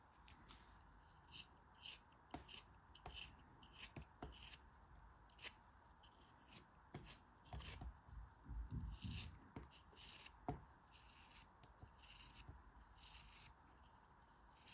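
A metal craft knife cuts through a solid, yellow molded kinetic sand block held in the hands. Short, crisp crunching ticks and dry, gritty scraping come in irregular bursts over a faint steady hiss. A denser, rougher crumbling stretch plays in the middle as the blade drags through the sand.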